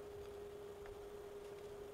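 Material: Nothing is struck.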